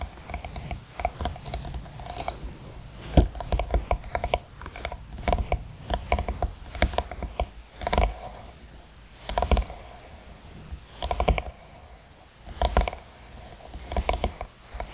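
Long nails tap and scratch along the edge and lid of a closed, hollow black croc-textured hard eyeglass case with a faux-leather cover. Dull, low, close taps with almost no ring mix with soft, rough scratching, coming in quick clusters with louder knocks spread through the clip.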